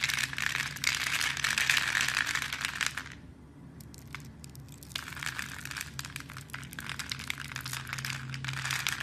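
A knife blade scrapes small cubes off a hand-sized, solid blue soap bar with white stripes that is scored in a fine grid and held in a hand with red nails. Dense, bright, crackly scraping and crumbling fills the first three seconds, drops to a quieter stretch with a few faint ticks, then resumes as steady crisp crackling to the end.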